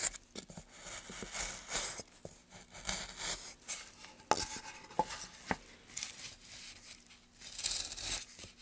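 A gloved hand pushes a gouge along a long channel in a solid, light pine softwood board, carving and scraping the wood. Bright, hissy scraping strokes swell and fade, broken by a few sharp, short clicks and taps, with a faint steady hum underneath.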